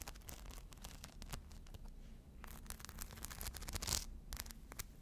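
A small, hollow, crescent-shaped fabric handbag covered in tiny rhinestones, with a strap and a metal clasp, is held in the hand and scratched across its surface with long blue acrylic nails. Quick, bright clicking scratches sound over a low, steady hum, growing loudest near the end.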